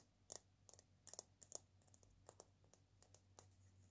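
Long painted nails tap and scratch the round body of a single hollow dried-gourd maraca with an etched leaf pattern, held in one palm. The result is a quiet, uneven run of dry, bright clicks and light scratches that die away almost instantly, over a faint low hum.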